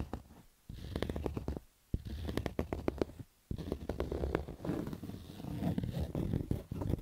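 Fingertips and nails scratch the black stitched fabric crown of a cotton baseball cap. Rough, crackly scratching comes in dense bursts of sharp clicks over a heavy low rumble, broken by a few brief silent pauses.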